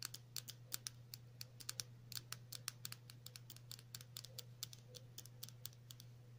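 A small, hollow, lidded white plastic stick-style lip balm tube with a printed label is held in both hands and tapped and scratched with long natural nails. The result is a rapid, irregular stream of dozens of sharp, bright, clicky taps with very short decay, heard over a steady low hum.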